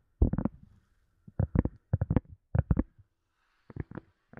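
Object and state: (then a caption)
Silicone cup lid tapped. A silicone cup lid is tapped in quick bursts of soft, dull, low-pitched thuds that stop almost at once. The taps come in small groups separated by short pauses.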